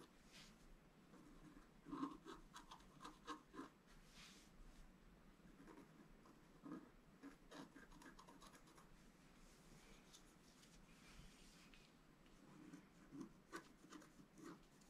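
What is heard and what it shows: A wooden stylus scratches the coating of a thin, flat black-coated scratch-art paper sheet lying on a table. The result is a quiet, steady rasping scrape with a low-mid hum around 280 Hz. Occasional louder strokes stand out near the start and again near the end.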